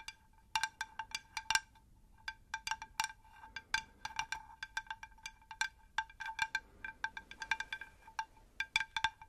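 Light taps on a ceramic terracotta pot produce a quick, uneven series of bright, chime-like ticks over about nine seconds. Each tap gives a short, high ringing tone that dies away almost at once, with quiet gaps between.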